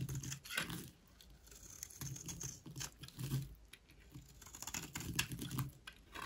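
A solid, dry white rectangular bar of soap is held in the hand and scraped with a utility knife blade. Short, repeated strokes make a dry, crumbly crackling with a low, muffled body and a bright, gritty scratch. The strokes come in several bursts separated by brief quieter pauses.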